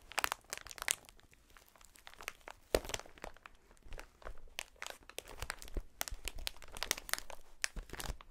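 A clear, inflated plastic air-cushion packaging sheet is held against the chest and squeezed and rubbed by hands in fingerless gloves. It makes a quiet, steady run of crisp crinkling and sharp, bright crackles in irregular bursts, with no ring after each snap.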